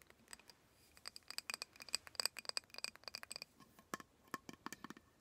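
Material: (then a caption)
Glass. A small glass candle jar filled with solid red wax and topped with a silver metal lid is held in both hands and tapped by fingertips and short nails on the glass sides and the lid rim. The result is a quick, irregular run of light, bright clicks and taps with tiny glassy pings, each dying out almost at once, and no low thump.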